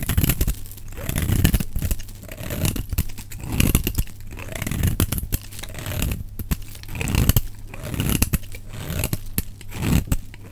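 A solid, dry, rectangular cream-white bar of soap is held in the hand and scraped and shaved with a metal utility knife blade. The result is a continuous run of crisp, crunchy, tearing scrapes with bright crackle, rising and falling in repeated strokes over a steady low hum.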